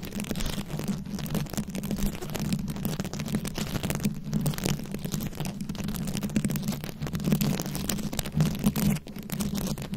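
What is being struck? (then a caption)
Microphone covered in plastic rhinestones and beads. Very long acrylic nails scratch a round, fist-sized microphone head covered in plastic rhinestones and beads. The result is a dense, steady stream of close scratching and rustling with a heavy low-end rumble and a hum near 220 Hz. Brief louder swells rise toward the end.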